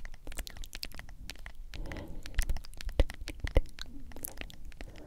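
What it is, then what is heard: Plastic powder tub. Long acrylic nails tap and scratch the lid and sides of a medium hollow plastic G Fuel powder tub with a white lid and printed label. Quick, irregular bright clicks mix with dry scratchy crackling, with a few sharper, louder taps standing out in the middle of the clip.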